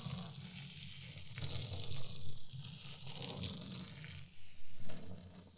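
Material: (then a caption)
Sand. A small rake is dragged slowly through fine white sand in a wooden zen garden tray, making a soft, grainy hiss and scrape with bright texture over a steady low hum. The strokes swell louder around two and again near the five-second mark before easing off.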